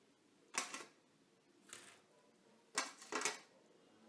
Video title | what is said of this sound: green and green:mediterranean pasta, greek salad, and loukoumades | you can hear how crispy they are